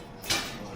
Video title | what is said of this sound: 4 Days Solo in Iceland: Golden Circle, South Coast, Lagoons & Northern Lights | Very glassy sounding. Yeah, that is because this lava is not crystallizing. No crystallization. Very weak bonds.